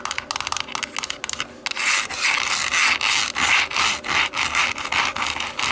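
Long nails scratch the dotted, textured hollow back of a black plastic TV remote turned face-down. Quick, choppy scratches in the first second and a half give way to longer, steady rubbing strokes in a rhythmic back-and-forth. The sound is dry, bright, and raspy with no low end.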